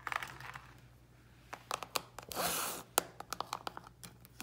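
Long pink nails and fingertips tap and scratch a small, round, closed plastic Ice Breakers mint container resting on a grey towel. Bright, crisp clicking taps come in quick irregular bursts, broken by one longer hissing scrape partway through, with no ring after each tap.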